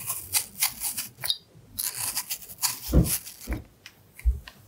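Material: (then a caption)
Apple. A carving knife scrapes away the skin between hearts carved into the side of a red apple, making crisp, bright scraping strokes at an irregular pace. A few duller, low knocks break in near the end between the quieter scrapes.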